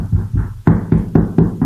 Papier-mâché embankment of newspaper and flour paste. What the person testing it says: it's dried very, very well. And if I tap it, you can hear. It's very, very firm.